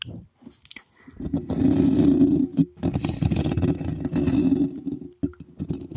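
Long fingernails of both hands scratch and tap directly on the rounded metal mesh grille of a black USB condenser microphone with a hollow head. A few soft, sparse taps open the clip, then a dense, loud, rasping scratch takes over with a boomy low-mid body around middle C. It breaks off briefly twice before continuing in uneven bursts to the end.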